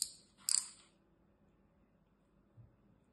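A utility knife blade scores and scrapes along the surface and edge of a brick-sized, solid, dry green floral foam block held on a table by a hand with long red nails. Two crisp, bright scratching bursts are heard, a short one at the start and a louder, rougher one about half a second later, each fading quickly. A faint low thump follows near the end.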